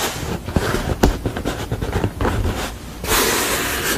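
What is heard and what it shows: Long fingernails tap and scratch the top and edge of a thick, solid wooden panel painted red with a sugar-skull image, lying on a table. Sharp, short taps are mixed with dry scratching, ending in a steady, bright, hissy scrape.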